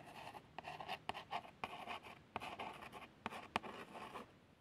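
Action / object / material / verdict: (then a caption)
scrape / small printed cardboard box / cardboard / none. A long fingernail traces the printed text on a small, hollow cardboard box of plasters. The result is a quiet, light scratching and rasping with a papery midrange texture, broken by a few brief, sharper ticks that stop almost instantly.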